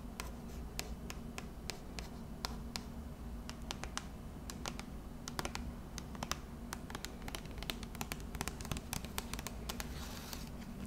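Long red acrylic nails scratch and tap along the surface of a hand-sized, hollow pink printed plastic lotion bottle (Twisted Peppermint) held in both hands. Quick, sharp, bright clicks and scratchy taps repeat throughout over a steady low background rumble.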